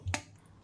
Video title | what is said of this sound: How to make Boost Chocolate at Home in Telugu - boost chocolate recipe by SANDHYA KITCHEN INDIA | ball లా చేసి ఇలా వేస్తే టక్ టక్ అని సౌండ్ వస్తుంది కదా అంటే రెడీ అయినట్లు